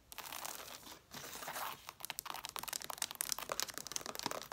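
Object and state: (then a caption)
Stack of cloth hardcover books, scratched. Long dark nails scratch the corner of a stack of red cloth hardcover books, along the cover edges and paper page edges. Two sustained passes of dry, bright rasping give way to a quick run of short, crisp scratching strokes. The sound is high and papery, with almost no low end and no ring after each stroke.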